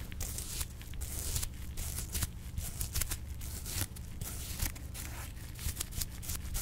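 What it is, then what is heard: Perforated leather glove being brushed. A flat paintbrush is brushed over a dark blue perforated leather glove, soft and hollow, held in a gloved hand. The clip is a run of quick, scratchy brushing strokes with bright, airy hiss on each pass over a steady low rumble.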